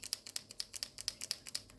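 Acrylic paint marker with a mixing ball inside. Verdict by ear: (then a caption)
Loose. An acrylic paint marker is shaken up and down to mix the paint, and the free-rolling mixing ball inside rattles against the barrel in quick, bright clicks. Thirteen sharp, dry ticks come in a steady rhythm with almost no low end. That free rattle is the sound the marker should make.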